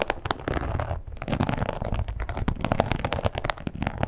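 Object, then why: Embossed leather wallet. A red croc-embossed leather wallet lying flat is scratched and tapped with long pointed acrylic nails. Dense, dry scratching runs under many quick, sharp clicks, with a soft low-end thud to each tap and almost no ring.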